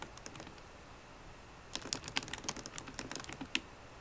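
Long nails and fingertips type on a MacBook Pro keyboard with plastic keycaps in an aluminum body. A few faint taps come first, then a quick, dense run of bright, sharp clicks with almost no ring.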